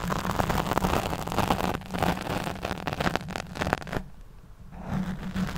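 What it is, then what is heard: Foam microphone windscreen being scratched. Long nails scratch the black foam windscreen over a large studio microphone while the other hand holds the mic body. The result is a dense, crackling scrape over a heavy low rumble. It briefly drops to near quiet just after four seconds, then resumes.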